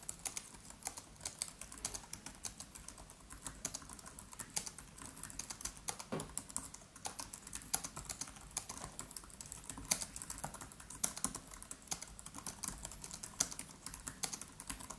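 Fingertips of both hands type rapidly on the black plastic keys of a MacBook Pro laptop with an aluminium body. The result is a steady stream of quick, bright, dry clicks with very short decay, some taps louder than others, and a continuous faint hiss underneath.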